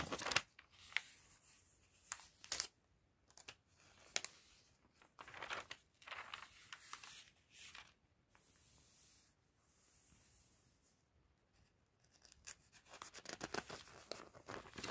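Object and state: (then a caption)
Glossy paper catalog pages being turned. Fingertips with long red nails and a white glove lift and turn the pages of an open, thin, glossy paper fashion catalog. Quiet, bright crinkling and rustling bursts come in irregular flurries with soft pauses between, growing busier toward the end.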